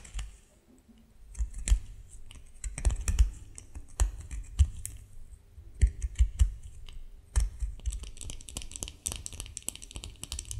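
A solid white bar of soap is scratched and crumbled with the nails of both hands, flakes falling off. Dense, dry, crackly scratching and crunching is heard, with sharp clicks and soft low thumps and bright, gritty scraping that thickens toward the end.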